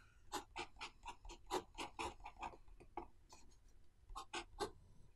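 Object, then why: Pen on notebook paper. A blue pen held in the hand writes lines of characters on the right-hand page of an open paper notebook resting on a wooden desk. Quiet, quick, scratchy strokes come in short bursts, each a dry, bright scrape with a mid-range body, with a brief lull before a final few strokes.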